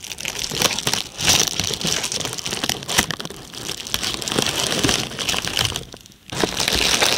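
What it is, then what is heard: Plastic bubble wrap. A sheet of red plastic bubble wrap, held near the mic, is squeezed and scratched with long red-painted nails. It makes a dense, bright crinkling and crackling with sharp little snaps. The sound briefly drops almost silent near the end before the crinkling resumes.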